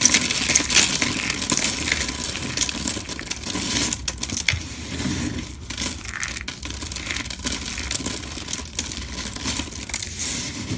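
Both hands scoop up a pile of small, dry, light green soap shreds on marble, squeezing and rubbing the crumbly pieces between fingers and palms. This makes a dense, bright crunching and crackling full of fine clicks. It is loudest at the start and continues steadily at a slightly lower level.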